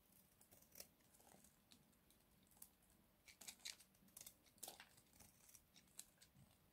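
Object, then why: Bar of soap scraped with a blade. A hand-sized, pale blue-white bar of dry soap is held in one hand and scraped along one edge with a small box-cutter blade, curling off crunchy shavings. The result is a quiet series of short, crisp, bright crunches and scratches with almost no low end, each dying away almost instantly.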